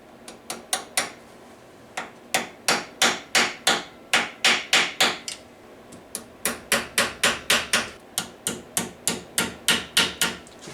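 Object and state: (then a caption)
Valve guide fully seated in cylinder head. A hammer taps small metal valve guides into the cylinder head of a 1997 Argo Conquest engine, giving about 30 sharp, bright, metallic taps in uneven bursts, each with a short ring. The tapping note changes as each guide bottoms out, showing it is fully seated in the head as expected.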